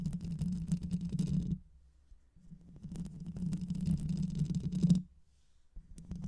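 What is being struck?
Microphone with metal mesh grille.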